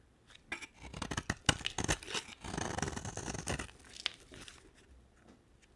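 A utility knife blade scrapes and carves a solid purple marbled bar of dry soap, giving short crisp, crunchy cuts with bright, papery edges. A longer continuous scrape runs through the middle before the cuts thin out to a few soft nicks.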